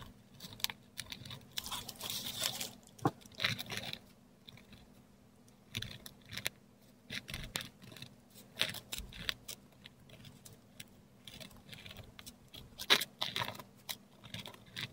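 A metal dip pen nib scratches looping script letters in ink across a flat, textured Korean paper sheet. Bright, dry scratching strokes come in short bursts separated by brief pauses, over a faint steady low hum.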